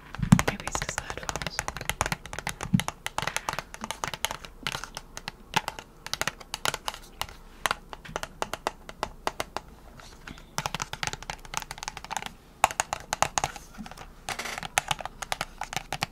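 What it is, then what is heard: Cardboard and plastic nail package tapped with long nails. Long nails tap rapidly on a small press-on nail retail package with a cardboard backing and plastic blister, held in one hand. The sound is a dense stream of dry, sharp clicks mixed with light plastic crinkling, each tap dying out almost instantly, with brief pauses between bursts.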